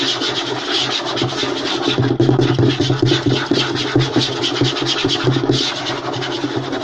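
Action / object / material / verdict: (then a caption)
scrape / light wooden tabletop / wood / none. Short nails and fingertips scratch and rub quickly across a flat, light wooden tabletop. The result is a continuous, dense rasping with a bright, hissy edge and a steady low body underneath, holding an even level throughout with a few small dips.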